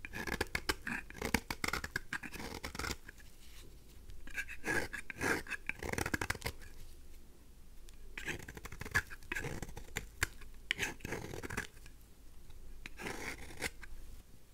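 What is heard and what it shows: A craft knife blade shaves a dry pink rose soap bar held in the hand into fine curls. Crisp, dry scraping strokes come in quick bursts with brief quiet gaps, each rasp bright and short with no ring.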